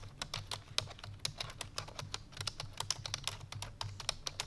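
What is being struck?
Plastic computer keyboard.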